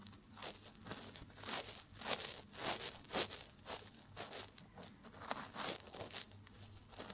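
A cotton swab is rubbed and scratched inside the canal of a life-size silicone ear mounted on a binaural microphone. The result is a string of soft, crinkly, rustling friction bursts, bright and hissy in the high range with very little low end. The bursts come in uneven, closely spaced swells throughout.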